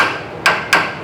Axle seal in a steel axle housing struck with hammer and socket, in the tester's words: sounds dead like Tonk Tonk Tonk so that's how we know that's good